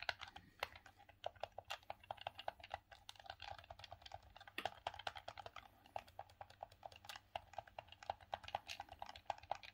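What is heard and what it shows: Fingertips and thumbs rapidly press and click the buttons and D-pad of a grey, hollow, hard plastic Sega Saturn gamepad held in both hands. The result is a dense, uneven stream of short, dry plastic clicks and taps with a bright edge and almost no ring, over a faint steady low hum.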